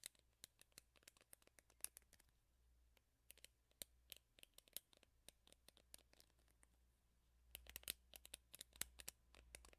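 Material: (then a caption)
Plastic, rubber. Long fingernails scratch along the black rubber cushion pad and bristles of a handheld hairbrush with a teal plastic handle, held close to the mic. The result is a rapid series of short, bright, crisp clicks and scrapes over a faint low hum, growing busier and louder near the end.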